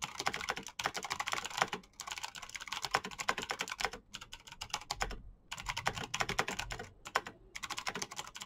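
Fingertips type fast on the keycaps of a black plastic backlit mechanical keyboard, producing a dense run of sharp, bright clicks and clacks. The typing comes in bursts separated by brief pauses, with each keystroke short and dry.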